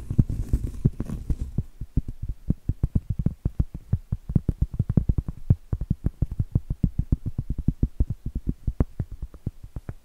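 Acrylic nails tap and scratch the flat face of a round solid cork trivet. A brief stretch of soft, brushy scratching with some high hiss opens the clip, then gives way to a rapid, uneven run of dull, muffled taps. Each tap is low and thuddy and dies away almost instantly.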